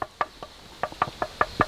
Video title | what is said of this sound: يومي الأول في كيوتو - جولة ساحرة في أجمل مدينة يابانية 😍🇯🇵 | 叩いたら、まるで木を叩いているようでした。